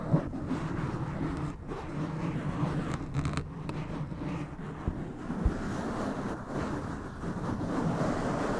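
A black foam windscreen on a white microphone is rubbed and scratched with the fingertips of both hands. A continuous low, muffled rustling rumble is heard, with a wind-like sound and a few soft thumps standing out.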